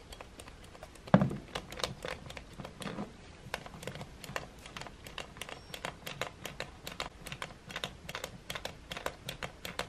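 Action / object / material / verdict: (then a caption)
tap / plastic hair dryer switch / plastic / none. A finger and fingernail repeatedly tap and press the switch area of a silver plastic hair dryer resting on a table. The result is a steady stream of short, dry plastic clicks and taps with a brief bright edge and almost no ring, plus one louder knock about a second in.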